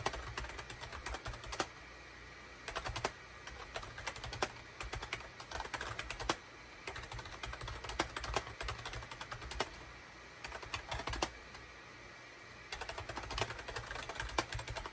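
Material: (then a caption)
Plastic. Rapid bursts of short, clicky clacks come from fingertips of both hands typing on a full-size wired USB SHIPADOO K600 keyboard with a gray plastic case, cream, gray and orange plastic keycaps and a hollow body, resting on a desk mat. Each keystroke is a crisp, dry tap that dies out almost instantly. Flurries of typing alternate with brief pauses over a faint, steady low hum.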